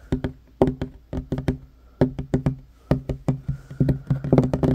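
Fingertips and short nails of both hands tap fast on a flat, solid wooden table top with a worn varnished finish. The short, dry knocks have a low, woody body and almost no ring. They come in quick bursts separated by brief pauses and grow denser toward the end.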